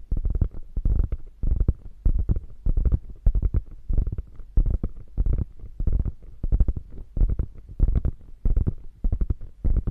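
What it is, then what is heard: Quilted faux leather handbag. Long nails scratch the padded top of a small beige quilted faux leather handbag lying on fur. The result is a steady run of dull, muffled scratching strokes, heavy in low rumble with almost no bright edge.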